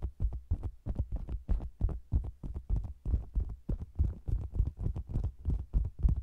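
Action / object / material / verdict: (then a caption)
tap / faux leather cosmetics bag / faux leather / none. Long green nails tap and scratch the sides of a round, hollow faux leather cosmetics bag with the mic inside it. The result is a quick, uneven run of deep, dull thumps, about three per second, heavy in the low end with short, brushy scrapes between them. Each thump dies away almost instantly.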